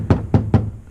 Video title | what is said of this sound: Solving The Nissan 370z Rattle Problem | I can still clearly hear the rattle when I'm tapping on that